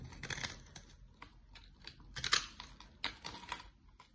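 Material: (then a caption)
Soap. A utility-knife blade shaves curly flakes off a solid, dry, dark olive-brown bar of soap with an embossed logo, held by long nails. A series of short, crisp, bright scraping and cutting bursts crackles out, each fading almost at once, with the loudest cuts near the middle and end.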